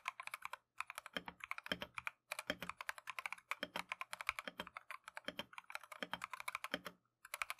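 A compact Keychron V1 mechanical keyboard with Tangerine switches and green and white Matcha plastic keycaps is typed on continuously with gloved fingertips. Rapid, crisp, bright clacks run in quick bursts with a few short pauses. Occasional deeper, fuller thuds are mixed in, and each keystroke dies away almost instantly.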